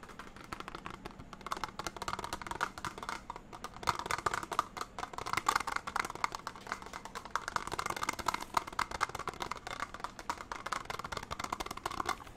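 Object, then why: Small plastic box with lid. A small, hollow, empty translucent clear plastic box with a lid is held up in both hands and tapped and scratched with fingertips and nails. A dense, steady stream of quick, dry plastic clicks and scratchy rustles fills the clip, centered in the mid range around 950 Hz with a light bright edge. Each tap stops almost instantly, with no ringing.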